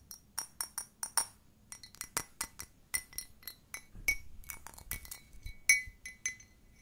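Long nails tap on the body and bottom of a hollow, empty-looking cream-pink glazed ceramic mug with a blue handle. The result is a series of quick, irregular, bright clinks, each ringing briefly with a glassy tone around 2.2 kHz before dying away.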